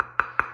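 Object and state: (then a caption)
Solid, heavy cooking pot. Three quick taps on a big four-quart non-stick pot give short, bright metallic clinks centered near 1.4 kHz that die away almost at once. The solid pot sounds weighty when tapped, as a good pan should.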